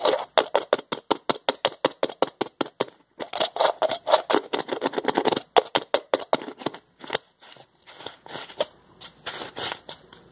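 A small, empty, hollow-looking translucent plastic jar has its white plastic screw lid twisted along the threads with the fingertips. It makes a rapid series of short, dry scraping clicks, evenly spaced at first, then longer, rougher grinding scrapes. The sound is bright and papery with no low end, and each stroke cuts off almost instantly.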